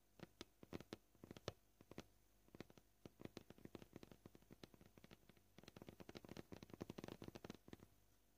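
A row of short fingernails taps a flat, solid white plastic cutting board in a close view. The quiet, dry clicks come at a shifting pace, from scattered single taps to quick rolling bursts, each with a soft low knock and a brief bright tick that dies away at once.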